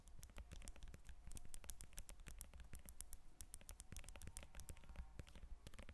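Long nails tap and scratch the peel of a whole yellow lemon resting on a table, producing a dense run of quick, dry clicks with brief scratching between them. The taps are short and crisp, with almost no ring, over a low rumble.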